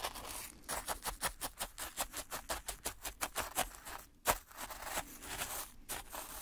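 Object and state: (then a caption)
Fine grit scraped with wooden sticks. Two wooden sticks held in gloved hands poke and drag through fine black-and-white speckled sand in a white plastic tray. A quick, fairly irregular run of short, crunchy, bright scrapes is heard, each grainy burst fading almost at once, with one sharper, louder crunch near the end before the dragging turns softer and more continuous.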